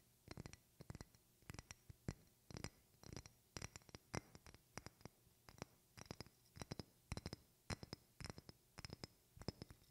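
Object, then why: Small glass bottle. A small clear glass bottle with a screw cap and decorative contents, held in one hand close to the microphone, is tapped and scratched by the other hand's fingertips and long red-painted nails. Quick clusters of crisp taps and bright clicks come in steady bursts with short pauses between them, each with a soft low body and almost no ring. Faint scratching sits underneath.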